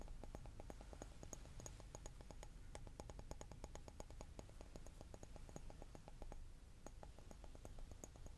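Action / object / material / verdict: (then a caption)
tap / glass object / glass / none. A glass object is tapped in a rapid, steady series, giving short, quiet clinks with a faint bright ring above a low, constant hum.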